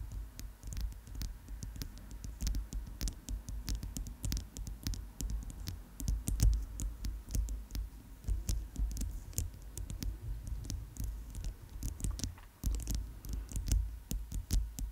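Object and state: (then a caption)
Plastic bracelet. A chunky white plastic bracelet with magenta inlays, held in front of a microphone, is tapped with long chrome nails. The result is a steady stream of quick, light clicky taps over a low, constant rumble.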